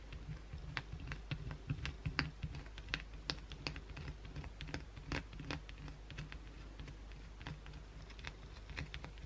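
A solid white oval bar of soap, held in the hand, is scratched fast and aggressively with long, pointed blue acrylic nails. Quick, irregular, sharp scratching ticks with bright, crisp edges run throughout, over a low, steady hum.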